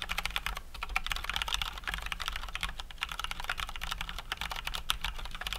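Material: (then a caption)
Plastic. Both hands type with their fingertips on a COX Dauntless full-size mechanical keyboard with Cherry MX Brown switches and plastic keycaps. A quick, steady stream of short, bright, clacky keystrokes centers around 1.3 kHz, with a faint low hum underneath. Each click dies away almost at once.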